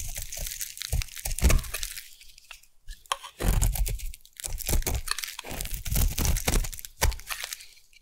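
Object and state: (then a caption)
Bar soap being scraped. A solid white round bar of Savannah collection soap is scraped into shavings with a metal blade, producing dense crunchy, crackling strokes with a dull low body and bright, brittle texture on top. The scraping comes in bursts separated by brief quiet pauses, and the shavings crackle as they peel away.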